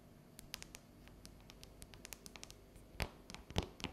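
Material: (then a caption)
Chocolate. Long yellow natural nails tap and scratch a solid, unwrapped dark chocolate bar with a ridged pattern. Quiet, dry clicks and light scratches patter along irregularly, with a few sharper, louder taps near the end. Each tap dies away almost at once.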